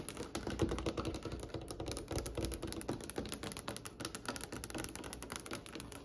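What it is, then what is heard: Fingernail tapping on a solid wooden tabletop. Fingernails of both hands tap rapidly on a glossy, varnished, solid dark wood tabletop. The result is a dense, uneven patter of short, sharp clicks with a woody low-mid tone around 336 Hz and very little ring.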